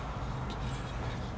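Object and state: Nothing is struck.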